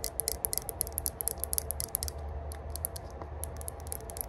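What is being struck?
Small metal herb grinder.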